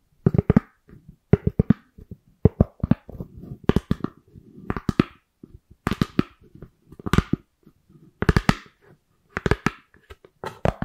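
A white round styrofoam plate is moved around close to the microphone while long nails and fingertips tap and scratch its surface. Quick clusters of sharp, dry clicks and taps come about once a second, with softer squeaky, crackly scrapes in between. Each tap stops almost instantly with no ring.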